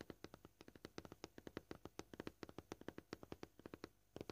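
Short painted fingernails tap rapidly across a flat, solid white plastic cutting board with a scratched surface, several fingers striking in quick, uneven runs. Each tap is a dry, clicky knock with a low-mid body and a short bright edge that dies away almost instantly, about 34 taps in just over four seconds.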